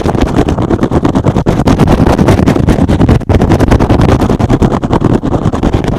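A soft, porous, hand-sized rectangular green and blue synthetic foam sponge is held up and scratched fast with fingertips and short nails. The result is a dense, continuous run of rapid rough scratching strokes with a heavy low, rumbling body, broken only by a brief pause near the midpoint.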